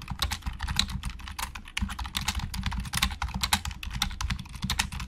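Fingertips type on a black plastic Logitech keyboard with hollow plastic keys, making a rapid, continuous stream of short, bright clacks. Each click dies away almost instantly, over a steady low rumble underneath.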